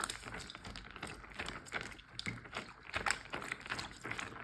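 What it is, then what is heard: Plastic zip bag filled with water. A large clear plastic Ziploc bag full of water is tapped and crinkled with fingertips and nails. A steady, quiet stream of crisp, bright crinkles and soft, short taps runs throughout, with a few louder taps standing out.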